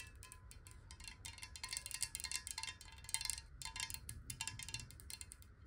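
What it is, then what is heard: Glass water bottle. Long nails tap rapidly on a clear glass water bottle with water in it, held horizontally in both hands. The result is a dense run of bright, high clicks and tinks that die away almost instantly, over a soft low rumble.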